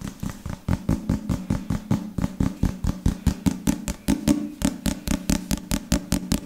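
Fingertips and nails tap and scratch the cover of a solid black leather or leatherette-covered book held above the microphone. About 28 fast, slightly uneven taps land in quick succession, each a dry, low thud with a brief bright click and almost no ring. A soft scratchy rustle sits between the taps.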